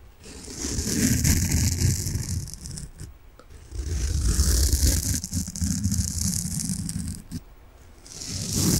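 A large, solid, soft peach-coloured foam sponge is held in front of the mic and scratched quickly with fingernails. The result is a fast, rough, rattling scratch with a heavy low rumble and a bright hiss above it. It comes in three long bursts separated by brief quiet dips.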